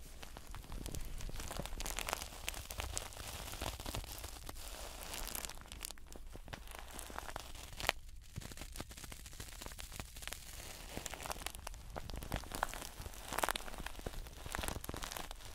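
Blue nitrile-gloved fingers scratch and rub across a stuffed plush toast toy made of soft yellow fabric with a brown edge and solid stuffing. The result is a steady, dense scratching and rustling with a low, soft rumble, bright crinkly crackles that may come from the gloves, and a brief quieter gap around the middle.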